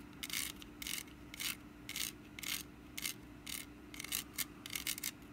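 Long nails scratch the ribbed woven sides of a small, hollow orange wicker pumpkin basket held in one hand. Short, bright, raspy scratching bursts come in an uneven rhythm over a faint steady low hum.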